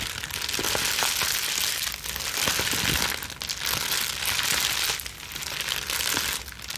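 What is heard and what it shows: A plastic bubble wrap sheet is bunched between both hands with long nails, scrunched and squeezed. Dense, bright crinkling with scattered sharp crackles rises and falls in continuous waves, easing briefly between bursts.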